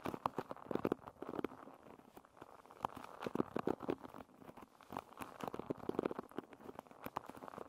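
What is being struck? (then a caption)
Wooden pin bristles of a paddle hairbrush. Long nails and fingertips scratch and flick the wooden pin bristles of a paddle hairbrush. Many quick, dry clicks and ticks come in irregular clusters over a soft scratchy rustle, mostly in the mids and dying out almost instantly.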